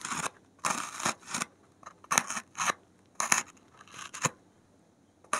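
A gloved hand pricks and scratches the top surface of a large, solid white expanded polystyrene (thermocol) foam block on a table with the point of a metal safety pin. It produces short, bright, crunchy squeaking scratches in irregular bursts, separated by near silence.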